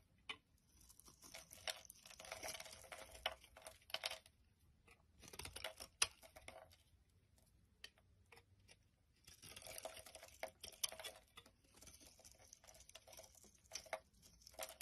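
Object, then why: Bar of soap scraped with a knife blade. A utility knife blade scrapes flakes off a solid pink rectangular bar of soap held in the hand. Quiet, bright, crisp scraping comes in bursts of rapid little crunches, separated by near-silent pauses.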